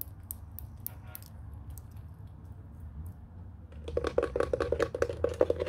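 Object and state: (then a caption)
Plastic telephone base. Long nails scratch and tap the flat underside panel of a white hollow plastic telephone base. The first few seconds are quiet, with a low background hum and a few faint, bright scratchy ticks. After that comes a quick, uneven run of hollow plastic taps with a mid-pitched knocking tone and almost no ring.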